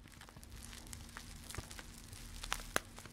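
A full, soft blue plastic bag of grated coconut is crinkled, squeezed and scratched with long red-painted fingernails close to the mic. Quiet, continuous crinkling and scratching is broken by a few sharp, bright clicks, the loudest near the end, over a faint low steady hum.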